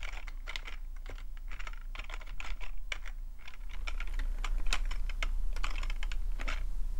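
Fingertips type on the keys of a full-size black plastic membrane keyboard with a hollow plastic body. Soft, bright clicks come in irregular bursts of quick taps over a steady low hum, growing slightly louder in the second half.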